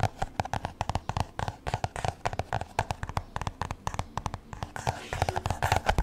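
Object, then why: Spiral-bound notebook with card cover. Fingertips and nails tap and scratch the card cover of a black spiral-bound "ADORE" notebook, held upright. Dozens of quick, dry, close-up taps come in an uneven rhythm, each dying away almost instantly. Soft scratchy rustling fills the gaps between them.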